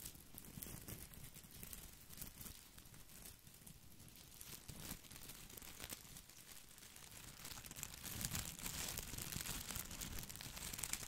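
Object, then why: Artificial boxwood ball with plastic leaves. Fingers scratch and rub the plastic leaves of an artificial boxwood ball held over a microphone. The result is a quiet, continuous crinkly, scratchy rustle with bright crackling over a low rumble, growing a little louder and denser toward the end.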